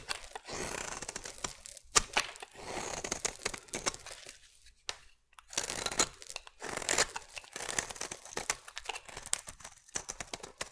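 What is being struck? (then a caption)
Bar of soap cut with a metal blade. A metal blade carves curls and chunks from the side of a solid oval blue soap bar. The result is a series of dry, bright scraping and crunching strokes with a crinkly, tearing texture, separated by brief quiet pauses.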